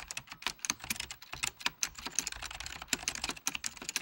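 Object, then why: Plastic computer keyboard. Fingertips of both hands type steadily on a full-size beige plastic Apple Extended Keyboard II with mechanical key switches. About two dozen quick, bright keystroke clicks come in irregular bursts, each dying away almost instantly with little low end.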